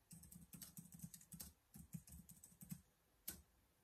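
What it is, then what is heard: Plastic laptop keyboard being typed on. Fingertips type on the keys of a black plastic laptop keyboard, giving a quick run of soft clicky taps with a low thump and a bright, high edge. A brief pause breaks the flurry partway through, and it ends with one sharp final click before quiet.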